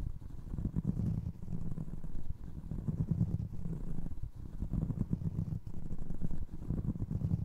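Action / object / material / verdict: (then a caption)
tap / foam resin clog / foam resin / none. A single navy blue foam resin Crocs clog is held by the heel while fingertips and short nails tap and scratch along the edge of its sole. The result is a steady stream of soft, dull, low thuds and rustly scrapes with almost no ring and nothing bright on top.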